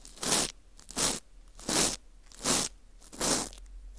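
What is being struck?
Dried wheat gluten ring (fu).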